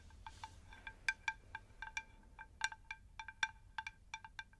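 Long pink nails tap the underside of a round, shallow, unglazed terracotta plant saucer in about nineteen quick, irregular taps over four and a half seconds. Each tap gives a bright, chime-like clink with stacked tones around 900 Hz, 1.6 kHz and 2.5 kHz that die away almost at once, over a faint low background hiss.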